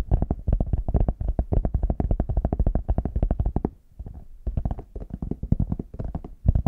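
Fingertips and nails tap rapidly on the smooth back and sides of a small, hollow, brown faux leather hard shell case held in both hands. The dense run of short, dull, low knocks pauses briefly around the middle, then resumes with quieter, sparser taps before ending on a few louder ones.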